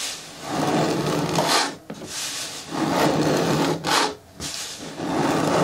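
Long nails scratch and rub across the flat front face of a large, hollow, green hard plastic bin with a lid. The result is a dry, raspy, broadband scraping with a bright hiss, coming in sustained strokes separated by brief pauses.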